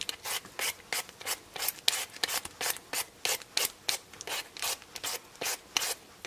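A black vegetable peeler scrapes the skin off a solid raw potato held in the hand, making 23 quick, evenly spaced rasping strokes. Each stroke is a short, bright, scratchy rub with almost no low end, separated by near silence.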